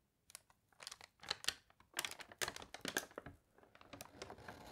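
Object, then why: Newsprint newspaper pages. Long nails tap and scratch across the newsprint of an open newspaper, and a page is turned with a crinkle. The sounds are quiet, dry, crisp clicks and rustles with a bright, high-leaning tone and almost no low end. Each one dies away almost instantly.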